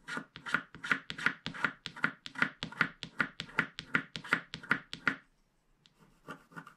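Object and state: Coated paper scratch card being scraped.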